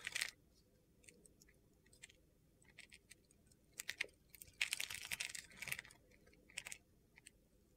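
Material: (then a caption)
Soap. A utility-knife blade scrapes crunchy flakes off a hand-sized, solid white soap bar held in the palm. Quiet, bright, crisp scraping crackles come in short irregular bursts separated by near-silence, with a denser, louder run of scraping about two-thirds of the way through.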